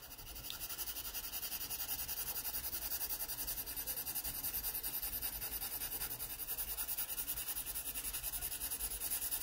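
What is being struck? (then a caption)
Graphite pencil on a paper sketchbook page. A yellow wooden graphite pencil is rubbed and scratched along the page of an open paper sketchbook lying flat, shading edges. The result is a steady, quiet, bright scratching hiss with quick back-and-forth strokes, rising slightly in level over the clip.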